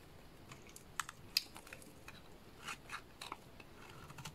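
A small blade cuts chunky flakes off the face of a solid lilac bar soap. The result is a quiet series of short, crisp, bright scraping clicks with almost no ring. Two sharper snaps stand out near the start, and softer slicing strokes follow at an irregular pace.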